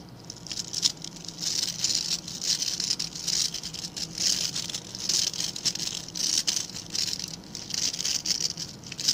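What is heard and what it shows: Fingertips flick and scratch the grey-black synthetic bristle tips of a hand-sized scrub brush with a blue-green plastic back. The result is a dense, crisp patter of bright, dry scratching that swells and fades in bursts, with almost no low end.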